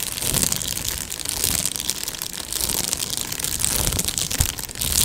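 A medium-sized, hollow Amazon Prime padded plastic mailer is scratched and tapped with long nails while held near the mic. The result is a steady, bright crinkling and scratching texture, with soft low thuds from the taps underneath and a sharper tap near the end.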